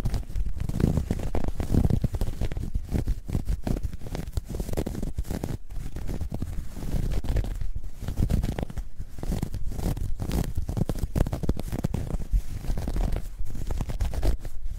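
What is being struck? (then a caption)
Ribbed knit fabric bag. Long nails scratch the ribbed surface of a soft, hollow, dark grey ribbed knit fabric bag that is held folded. The result is a steady, deep, muffled scratching rumble made of rapid, dense strokes, with its energy almost entirely in the low end and almost nothing bright on top.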